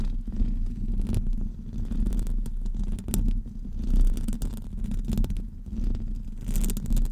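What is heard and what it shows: The nails of both hands scratch across the top of a hollow metal wire-mesh microphone grille. This makes a continuous, muffled scratching rumble that is heavy and low, with faint brighter scrapes flickering over it. The scratching swells and fades in waves throughout.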